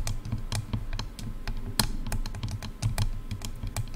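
Long dark-red nails tap quickly on both sides of silver, hollow plastic headphone ear cups. The result is a rapid run of short, dry clicks with a low, hollow body and little ring.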